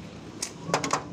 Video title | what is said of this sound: Kelebihan Suzuki Katana yang belum di bahas chanel lain | ya, ini kereta besi.